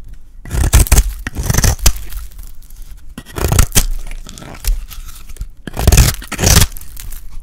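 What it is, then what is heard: Dry soap bar being shaved. A solid, dry pink bar of soap held in the hand is shaved with a metal blade. Three bursts of dry, crunchy scraping come through in long strokes, heavy in the low end with a brighter rasp on top. Each cut ends abruptly with almost no ring.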